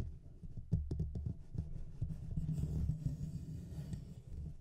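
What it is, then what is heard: Metal mesh microphone grille being scratched. Fingertips and nails scratch the sides of the hollow metal mesh grille on a Blue Yeti microphone. The result is a dense, irregular stream of low, rumbling scratches and soft thumps, with a few sharper taps early on and a faint bright hiss over the top.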